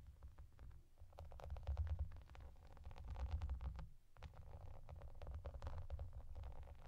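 Fingertips and long nails tap and scratch across a translucent plastic bath mat with raised bubbles and yellow duck shapes. The result is a dense stream of quick, crisp clicks and scratchy rustles over a deep, muffled low rumble, pausing briefly near the four-second mark before resuming.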